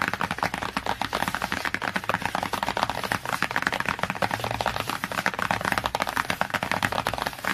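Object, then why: Glossy cardboard hardcover book cover. Long nails tap and scratch quickly across the cover of a glossy cardboard hardcover book. A dense stream of short, dry clicks and scrapes runs without pause, bright and crisp with little low end, with each tap dying away almost instantly.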